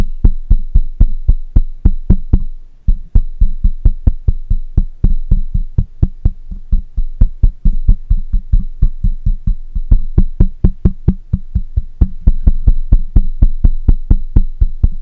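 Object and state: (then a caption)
Metal mesh microphone grille. Fingertips of one hand tap the side of the hollow metal mesh grille of a black microphone in a fast, steady rhythm, 62 hits in all. Each tap lands as a deep, muffled thump around 59 Hz that dies away almost at once, with a faint steady high tone running underneath.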